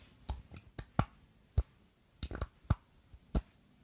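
Long glittery acrylic nails tap and scratch a square clear glass perfume bottle filled with pink liquid and topped with a glass stopper with a bow. The result is a series of short, irregularly spaced clicky taps with a low, dull body and very little ring, separated by quiet gaps.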